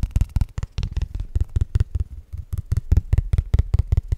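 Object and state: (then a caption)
Cardstock trading card. A small, flat, thin paper Pokémon trading card made of cardstock is held in both hands and tapped rapidly with the fingertips. It gives about 21 quick, dull, low thumps in an uneven rhythm, each very short with almost no ring, and faint brighter flicks of paper on top.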